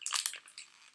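A wrapped gift shaped like a Christmas bauble is shaken, giving a quick series of bright, dry, crunchy rattles with no low end that fade within a second. The sound is judged to be chocolates rather than M&Ms, because it doesn't make the M&Ms sound, and the bauble turns out to be a Disney Christmas bauble with chocolate inside.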